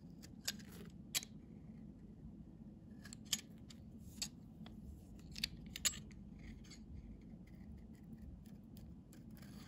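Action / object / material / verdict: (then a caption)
scrape / bar of soap scraped with a metal blade / soap / none. A metal blade scrapes the face of a solid cream-colored Nefis children's soap bar with string herb, held in the hand, shaving off curled flakes that pile up. Short, crisp, bright scraping snaps come at irregular intervals, each ending almost at once, over a steady low hum.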